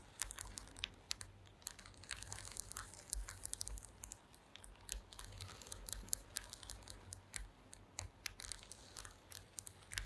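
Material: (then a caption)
Wood. Long green acrylic nails scratch across the slats of a woven wooden slat mat. Quiet, dry, bright scratching and rapid ticking clicks repeat throughout, with a faint low hum underneath.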